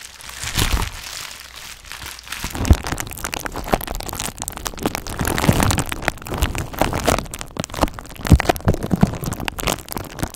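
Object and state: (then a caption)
Plastic bubble wrap mailer. A flat purple plastic bubble mailer with hollow air bubbles is held close to the microphone and scratched and squeezed with long acrylic nails. Dense crinkling and crackling runs throughout, with sharp clicks and snaps scattered over a low, rumbling handling noise.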